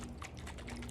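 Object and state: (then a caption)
Coconut full of water. A whole coconut is shaken so the water inside sloshes in soft, low, wet bursts. The coconut is full of water, as a good coconut should be.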